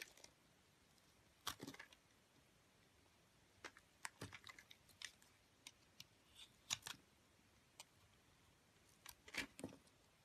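A metal cutter blade carves and scrapes shavings off a solid white soap bar with a green-speckled rim, held in the hand. Quiet, irregular bursts of crisp, bright scraping and cutting strokes come in short clusters with near silence between them, each sound dying away almost at once.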